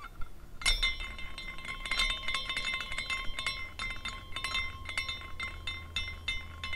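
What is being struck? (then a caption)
Small glass carousel figurine. A small glass carousel figurine is spun by fingers at its top, and its glass horses clink against each other. A steady run of light, bright tinkling and chiming fills the clip, with sustained high ringing tones over a low hum.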